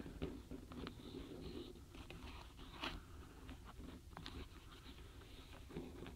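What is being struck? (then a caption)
Small wooden stamp blocks in a cardboard box. Long nails tap and rub the tops of a full tray of small solid wooden alphabet stamp blocks packed in a paperboard box, with fingers resting on the block edges. Quiet, dry clicks and crunchy scratching rubs blend into a steady low-heavy rustle. Each tap dies away almost at once.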